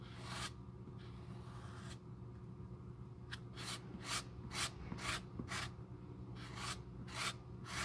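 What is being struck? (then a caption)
Leather shoe sole. A bristle glue brush with a metal handle is rubbed back and forth over the tan leather outsole of a red patent high-heel shoe, held in the hand and resting on a cup. A long early sweep is followed by short, bright, scratchy strokes in a loose rhythm. A steady low hum sits underneath throughout.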